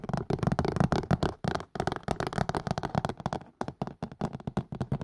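Fingertips and nails tap rapidly on the plastic base and silicone sides of a hollow, empty green and white collapsible plastic and silicone colander tilted close to the mic. The taps land fast and unevenly as soft, dull, low knocks that die away almost instantly, with little brightness.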